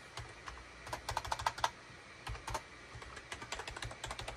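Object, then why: Plastic computer keyboard. Fingertips of both hands type rapidly on a full-size gray, cream and orange SHIPADOO K600 wired USB plastic keyboard with a hollow plastic housing, resting on a desk mat. Quick, bright plastic key clicks come in bursts with short pauses, some carrying a faint ringing tone near 900 Hz, and each click dies away almost instantly.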